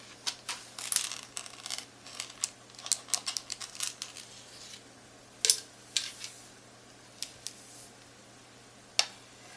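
Long acrylic nails tap and click on the screen edge and rubbery keys of a hollow, handheld black plastic Texas Instruments graphing calculator with an LCD screen, held up close. The result is a quiet, irregular run of sharp, bright, high-pitched clicks and taps that stop almost instantly, some in quick clusters and others spaced out.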